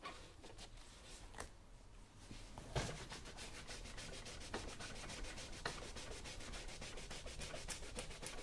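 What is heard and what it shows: A yellow cloth rubs the lower part and toe of a brown leather work boot worn on a foot. Soft, steady brushing and swishing strokes build from quiet to a fuller, continuous rub, with an occasional sharper swipe standing out. The friction has a low rumble underneath and a bright, airy hiss on top.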